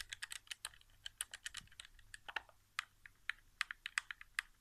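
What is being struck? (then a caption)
Plastic game controller. Fingertips rapidly tap the buttons of a hollow white plastic PS4 game controller resting on carpet. About 24 short, dry clicks come in quick, uneven bursts, each bright and clacky around 2 kHz with almost no ring or low end.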